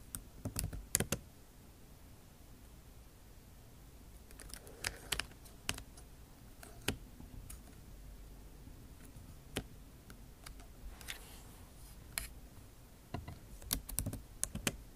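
Slow typing with long nail tips on a backlit MacBook Pro keyboard, its plastic keycaps set in an aluminum body. Sharp, bright clicks come in scattered clusters over a low, quiet background. Some keystrokes are isolated and others bunch together, and each one decays almost instantly.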